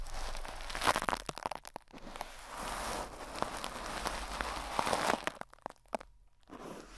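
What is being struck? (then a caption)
Plastic cling film stretched over a microphone. A long-handled makeup brush is swept and rubbed over the top and sides of wrinkled clear plastic cling film covering a microphone head with a hollow metal grille underneath. The result is close, crinkly crunching and crackling rustles that swell and fade in soft waves. A few sharper ticks stand out before brief quiet gaps.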